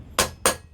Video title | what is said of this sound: Hayabusa - Front Wheel Bearing Replacement (How To) | you can hear the solid sound of that now